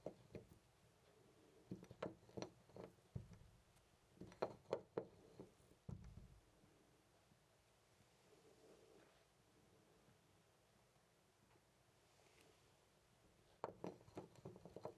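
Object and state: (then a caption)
Loose brass door knob. Fingers twist and rattle a loose brass-colored metal knob on a white interior door. Irregular bursts of short, dry metallic clicks and clunks come in the first six seconds, then a long quiet stretch. The rattling returns near the end.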